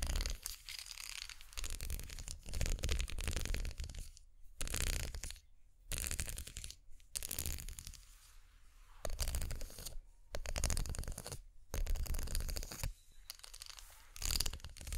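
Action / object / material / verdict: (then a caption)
scrape / ridged plastic makeup brush handle / plastic / none. Long nails scratch down the ridged spiral handle of a plastic unicorn-horn makeup brush with synthetic bristles, held upright. Repeated bursts of dry, bright, raspy scratching alternate with short near-silent gaps, over a steady low rumble.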